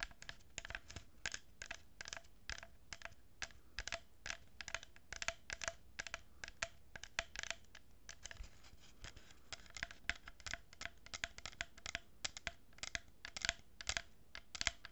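Long nails scratch and tap along a hollow cardboard tube with a row of plastic pearl beads, held horizontally. Quiet, dry, bright scratching comes in a steady stream of quick, short strokes and ticks with no ring.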